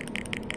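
The metal main shift solenoid from a Chevy Cruze transmission is shaken by hand, and something loose inside rattles in four quick, bright clicks over a steady low background. The solenoid is loose with its internal magnetic field broken, and it gives no response at all when tested on a battery, even the big one.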